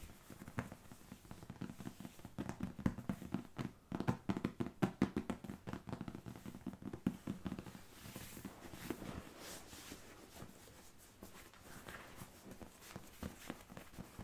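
A large, solid, soft polyurethane foam squishy shaped like a waffle is held in both hands and tapped and rubbed with fingertips and nails across its textured surface. Quiet, fast, dull taps with a low, muffled thud and almost no ring are mixed with soft scratchy rubbing. The tapping eases into a steadier rubbing passage before quick taps return near the end.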